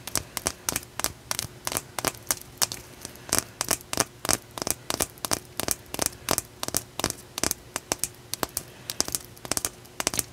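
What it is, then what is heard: Raw blue calcite chunk. A solid, rough raw blue calcite chunk is turned in the hands while long nails tap and scratch its uneven surface. Around 39 sharp, bright clicks and short scrapes follow one another quickly, each dying away almost at once over a faint steady hum.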